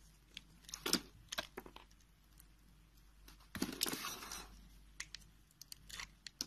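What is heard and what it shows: A utility knife blade slices thin curls off a solid, dark brown, translucent soap bar held in the hand. Crisp, bright scraping and crunching cuts come in short bursts, with a longer shaving stroke near the middle.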